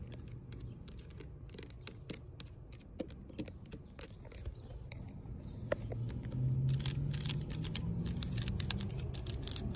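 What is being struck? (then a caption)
Coated steel mesh bench surface. Long pink nails tap and scratch along the ridges of a black coated steel expanded-metal picnic bench surface. Quick, irregular dry clicks and bright scratchy bursts sit over a steady low rumble. The sound grows louder and busier in the second half.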